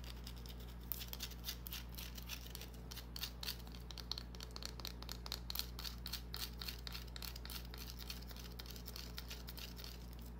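Long dark-painted nails scratch a small solid green bar of soap held in the palm, making quick, irregular, bright scratchy clicks and rasps. The clicks are short and dry over a steady low hum.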